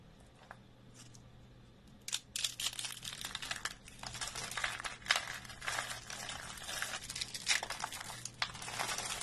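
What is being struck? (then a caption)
Curled soap shavings. Thin, dry green soap shavings rolled into hollow spiral coils are dropped by hand as flakes, then squeezed and crushed between bare fingers. A quiet start with a few light ticks gives way after about two seconds to dense, bright, crisp crackling and crunching over a faint steady low hum.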